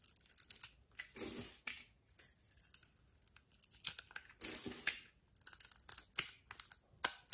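A utility knife blade carves and scrapes the scored surface of a solid oval brown bar of soap held in the palm, shaving it into flakes. Quiet, bright, crisp scratching and crackling come in many short cuts, with two longer rasping scrapes near 1.2 and 4.5 seconds.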